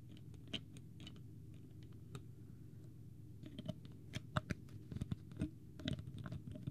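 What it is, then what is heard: Plastic water bottle. Fingernails rapidly tap and scratch the plastic cap and body of a small, clear, partly full plastic water bottle with a green label. Quiet, sharp clicks and light scratches sit over a steady low hum, with the taps growing louder and denser in the second half.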